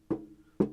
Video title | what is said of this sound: ALL NEW HIFI SYSTEM to REVIEW German Physiks Speakers Audio Analogue Gutwire Norma Audio HRS Intro | if I tap the top of the amplifier you can hear we have got a little bit of resonance there not too bad